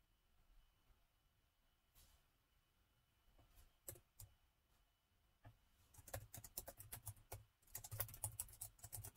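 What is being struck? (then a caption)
Plastic laptop keyboard. Fingertips from both hands tap the plastic chiclet keys of a gold laptop, starting with a few isolated clicks and building into steady, dense typing. The keystrokes are short, dry taps with a low thump and bright clicky edges, and the typing grows busier toward the end.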